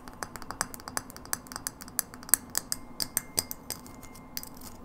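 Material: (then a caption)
Glass. Long nails tap quickly on a hollow frosted glass light bulb, on the glass and near its metal base. The result is a rapid series of short, dry, bright clicks and ticks that stop almost instantly, with some taps louder than others, over a faint low hum.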